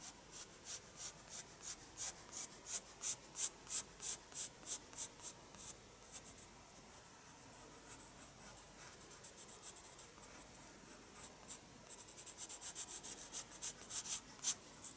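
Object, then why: Graphite pencil on a paper sketchbook page. A graphite pencil held in the fingers is drawn in short scratching strokes across the page of a small spiral-bound paper sketchbook lying flat on a wooden desk. Bright, high, papery scratches come in a quick rhythm at first, soften into a fainter continuous rasp in the middle, then return as faster, denser strokes toward the end. Each stroke is dry and short, with almost no low end.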